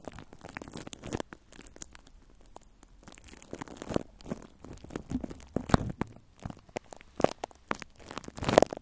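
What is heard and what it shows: Long nails scratch and crinkle clear plastic cling film wrapped over a metal microphone grille. The result is a close, dense stream of soft crinkling and scratching with quick, sharp crackles that grow louder toward the end.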